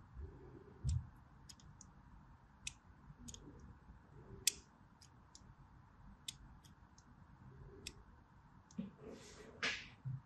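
A blade draws long diagonal cuts across a solid white striped bar of soap held in the palm. Short, sharp, bright clicks and scratchy ticks stand out over a faint low rumble. The session ends with a longer rasping scrape.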